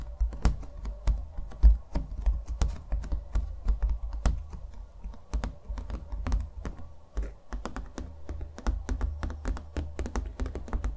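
A small stretched canvas on a wooden stretcher frame, hollow-backed and painted with thick, textured acrylic strokes, is held in the hands and tapped quickly with fingernails on its painted front. The result is a rapid, uneven stream of short, dry clicks, each with a soft, hollow low thump and almost no ring, over a faint steady low hum.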